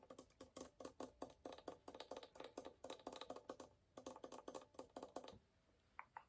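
Fingernails and fingertips tap rapidly on the spruce top around the f-holes of a hollow wooden violin held at the chest. The taps come in two quick runs with a brief pause near the four-second mark, each one a short, dry, hollow knock centered around 530 Hz with bright clicky edges. They end with a couple of faint higher tones.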